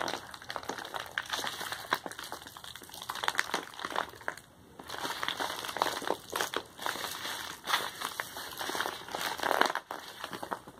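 A medium kraft paper padded mailer envelope with a label is held at both ends while hands squeeze and crumple the paper and its bubble lining. The result is about eleven seconds of dense, bright crinkling and crackling, with little low end and short bursts that rise and fall in loudness.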